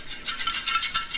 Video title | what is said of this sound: Speed Cleaning Tractor Parts! | it sounds like a moringa when i shake it it's got a lot of rust in it